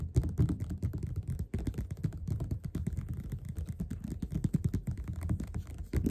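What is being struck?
Paperback book.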